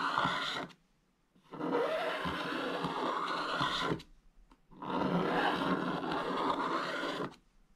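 A wooden stylus scrapes the black coating off a thin, flat scratch-art page in an open book, held steady by the other hand, in long strokes that leave crumbly black flakes. Three bursts of dry, gritty scratching are heard, a short one followed by two longer ones, separated by brief pauses.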